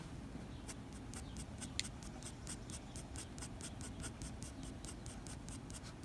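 The graphite tip of a blue mechanical pencil, held in the fingers, scratches short fur strokes across a flat white drawing paper sheet. A quiet, steady run of brief, bright scratchy strokes sits over a low background rumble, with one sharper tick standing out near the start.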